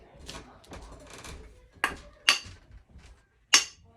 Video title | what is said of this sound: Wedge banger for a working man | It's got that hollow sound. It ain't down.